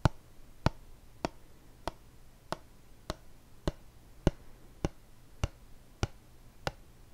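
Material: Plastic.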